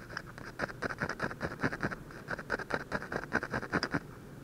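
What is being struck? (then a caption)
Ballpoint pen on a paper sheet. A ballpoint pen's metal tip scratches small, repeated strokes on a thin white sheet of drawing paper, close up at the drawing's nose. The result is a quick, uneven series of short, dry scratches with a bright, papery hiss and a faint lower rasp.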